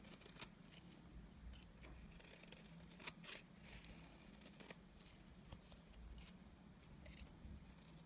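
A utility knife blade shaves strands off the face of a solid, dry, beige oval bar of soap. The result is a string of quiet, crisp, bright scraping and ticking cuts. A steady low hum runs underneath throughout.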